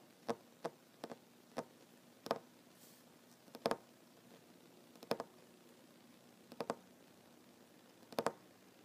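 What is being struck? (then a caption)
Wooden tabletop. Fingertips and short nails tap a solid wooden tabletop in a slow, irregular rhythm of single and quick double taps. Each tap is a dry, short knock with a mid-pitched wooden body and a bright click that dies away almost instantly into quiet.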